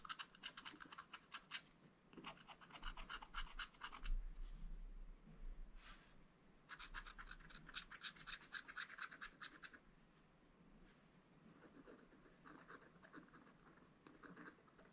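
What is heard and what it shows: A wooden stylus makes quick, short scratches on a black-coated scratch-art page in a spiral-bound book, working around a hedgehog drawing. Bursts of rapid, dry, raspy strokes come in clusters with brief pauses between them, over a faint low hum. The scratching grows softer and lighter in the last few seconds.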